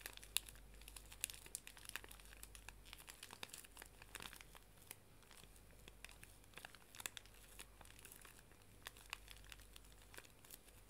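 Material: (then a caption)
Plastic film. A full, small pink plastic-film pocket tissue pack is squeezed, bent and crinkled in both hands with long nails. Quiet, dense crinkling fills the clip with sharp, bright crackles that stop instantly, over a faint steady low hum.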